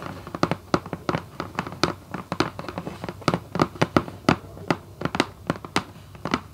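Long white coffin acrylic nails on both hands tap rapidly on the closed lid of a red Vans cardboard shoebox lying flat and hollow. Around 30 quick, dry taps sound in an uneven rhythm, each a short hollow knock with a bright clicky edge that dies away almost at once.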